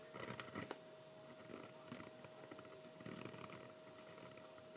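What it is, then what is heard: Fountain pen nib scratching on thick drawing paper. A metal-nib fountain pen writes lettering on a single sheet of thick 80# heavyweight sketching paper, which lies flat on a wooden table and is held down by one hand. The nib makes quiet, dry scratches in short repeated strokes, with bright rasping bursts and a faint steady mid-pitched hum underneath.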